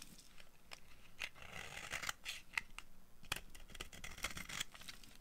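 A dry, solid orange bar of soap held in the hand is shaved with the blade of a yellow-handled utility knife. Quiet, crisp scraping strokes repeat throughout, bright and hissy with a focus around 2 kHz and some soft low rumble underneath. Each scrape is short and dry, dying away almost at once.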